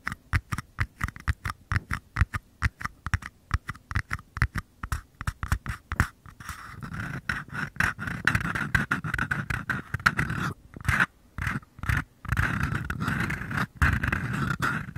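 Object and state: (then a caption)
Empty paper cups. Fingertips tap and scrape the bottoms of two identical small, empty, hollow white paper cups held bottom-first close to the microphones. The first six seconds are quick, separate hollow taps with a low thump and a papery mid-range ring. The rest turns into denser, continuous scratching broken by short pauses.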